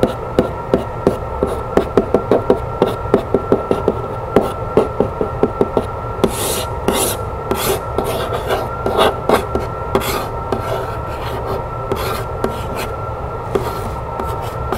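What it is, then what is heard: Cardboard box. Long fingernails scratch the side of a medium rectangular printed cardboard keepsake box decorated with birds and butterflies. For the first six seconds there is a quick run of short, dry, clicking strokes. After that come longer, brighter rasping scratches over a steady faint hum.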